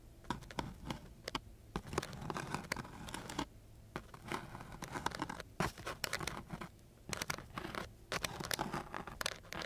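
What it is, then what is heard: Sandpaper sheet. A flat wooden stick is scraped across the grit of a coarse sheet of sandpaper, producing rough, dry scratching strokes in quick bursts. The bursts come in irregular clusters with short pauses between them, and each stroke carries a bright, gritty hiss over a low rasp.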